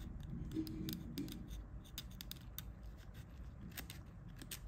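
A pointed pick scratches grime from the edges of the plastic keypad on an old Nokia 1110, a small hollow phone held in gloved hands and tilted partway through. Faint, irregular bright scraping ticks sit over a soft, low rustling of handling noise, with a slightly louder stretch near the start.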